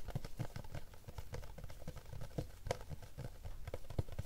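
A small, rigid, hollow yellow Panini cardboard trading-card box is held in both hands and tapped on its lid and sides with fingertips and short nails. The result is a rapid, uneven run of soft, hollow, low thuds that die away almost instantly, with little brightness above the dull knocking.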